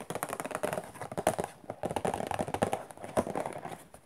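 A rectangular, hollow cardboard tissue box printed with macarons, with a plastic-film opening on top, has its printed sides scratched and tapped quickly with long nails. Rapid, dry, hollow taps come in an uneven stream with a soft scratchy texture between them. Each tap stops almost at once, with a muted mid-range knock.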